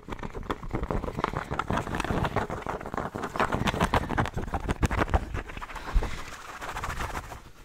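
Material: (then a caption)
Cotton. Fingertips of both hands scratch and rub a pink cotton baseball cap worn on the head, working over its soft fabric crown and brim. The result is a dense, fast run of dull scratching and rustling strokes, heavy in the low end with little brightness, that eases slightly toward the end.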